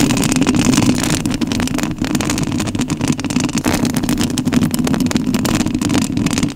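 Long nails scratch the metal mesh grille of a rhinestone-covered studio microphone. The result is a steady, dense rasping texture with a strong low-mid body around 250 Hz and a bright, hissy scrape layered on top. It holds at a fairly even level for the whole clip.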